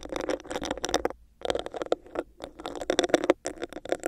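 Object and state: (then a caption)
Textured plastic cup. Long nails scratch and tap on a hollow, empty, clear textured plastic cup with a bumpy surface held over a microphone. Dense bursts of clicky, rasping scratches come in clusters with brief gaps between them. They have a hollow midrange ring around 600 Hz and bright, crisp edges.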